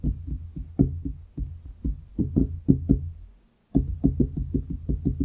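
Fingertips of both hands tap on a large solid wooden desktop beside the microphone in quick, uneven runs. The dull, woody knocks are mostly low and warm, each fading quickly, with a brief silent pause before a final rapid burst of taps.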